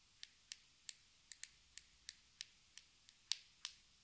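Long red nails tap and twist the white lid of a small round black plastic cosmetic jar held in the hands. Twelve sharp, bright clicks with almost no low end are heard, each dying away almost instantly, spaced unevenly over about four seconds.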